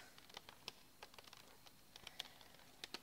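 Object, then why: Plastic bicycle helmet shell. Long fingernails tap quickly on a pink child's bicycle helmet, a vented hard plastic shell over a hollow foam liner, resting on a backpack. About sixteen quiet, dry, bright clicks come in an uneven patter, each dying away almost instantly, with a sharp tone around 3.4 kHz.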